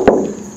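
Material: Steel.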